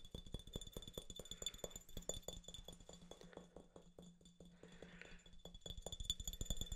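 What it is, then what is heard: Glass bottle. Fingernails tap quickly on a hollow, mostly empty clear glass Topo Chico mineral water bottle with a yellow label, held close to the mic. The roughly thirty short, dry clicks come at an uneven pace over a low steady hum, with a thin glassy ring near 3.5 kHz and bright overtones above. The taps grow slightly louder toward the end.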